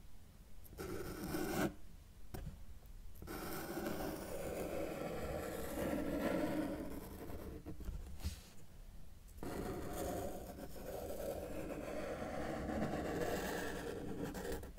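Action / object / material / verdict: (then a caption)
scrape / felt-tip marker on paper sheet / paper / none. A felt-tip marker held in the fingers is dragged across a flat white paper sheet lying on a table with a solid surface, drawing lines. It makes a steady, low, rasping scratch that runs in long strokes, broken by a few short pauses where the marker lifts off the paper.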